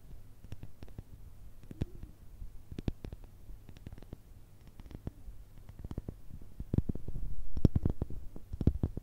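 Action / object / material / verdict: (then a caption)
tap / pumice stone tapped with fingernails / pumice / none. A palm-sized, solid, porous light-grey pumice stone held in both hands is tapped and scratched with long red acrylic nails. Quick, dry clicks and soft scrapes repeat irregularly over a low, muffled rumble, growing a little louder toward the end.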